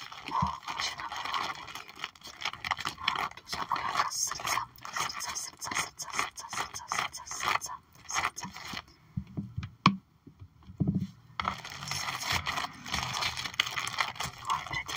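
Long nails scratch and tap across a sticker album page holding heart and fish puffy stickers under a clear plastic sleeve. A dense, bright crinkling scrape with quick clicky taps runs throughout, thins to a few soft taps in a quieter stretch past the middle, then picks back up.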